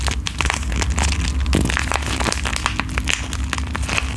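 A flat, filled pink foil-and-plastic sheet mask sachet is held close to the microphone, squeezed and tapped with long nails. This produces a continuous stream of bright crinkling and crackling with quick tapping clicks. A steady low hum runs underneath throughout.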